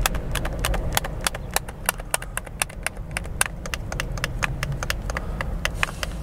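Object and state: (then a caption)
Plastic game controller buttons clicking. Thumbs quickly press and click the buttons of a hollow, handheld white plastic game controller held close to the face in both hands. Dozens of short, dry, bright clicks tumble out in an uneven rapid patter over a steady low rumble, each snapping off almost instantly.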